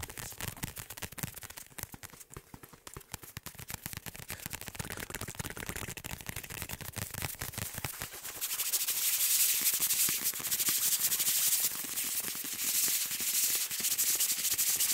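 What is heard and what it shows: A large black fabric or neoprene laptop sleeve is held in both hands while fingertips and nails rapidly rub and scratch its surface. The result is a fast, bright, hissy scraping with a quick, uneven rhythm, growing noticeably louder and harsher about halfway through.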